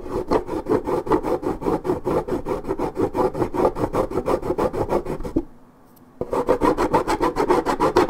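Long nails scratch rapidly and deeply across the scuffed area of a 1.75 L coated paperboard orange juice carton. The result is a steady run of dry, raspy, rubbing strokes with a papery, mid-range texture. The strokes pause briefly near the end, then resume.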